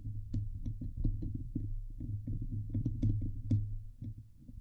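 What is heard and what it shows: Medium-long painted fingernails on both hands scratch and tap the hollow steel wire-mesh grille of a Blue Yeti microphone head on its metal body. The result is a dense run of low, muffled thumps and rubbing with a boomy low tone, dotted with short, bright ticks where the nails catch the mesh.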